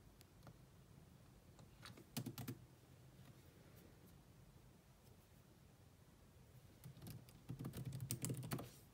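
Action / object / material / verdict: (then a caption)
tap / laptop keyboard with plastic keys / plastic / none. Fingertips and long nails type with moderate taps on the black plastic chiclet keyboard of a grey laptop. A short burst of clicky key taps comes early, a quiet stretch of faint taps and low hum follows, and a longer, denser run of typing comes near the end. Each tap has a soft low thump with a bright click on top.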